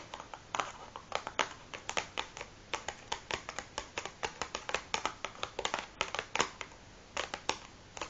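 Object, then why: Cardboard matchbox. Long fingernails tap and scratch the top of a large, closed cardboard matchbox resting on a wooden table. A quick, irregular string of short, dry, bright clicks and scrapes is heard, each dying away almost at once, with very little low end.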